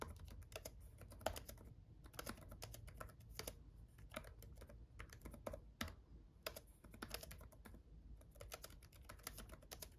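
Both hands type with their fingertips on a black gaming laptop keyboard with red-backlit plastic keys. Rapid, bright plastic taps come in quick bursts separated by short pauses, each tap dying away almost at once. A soft low rumble sits underneath throughout.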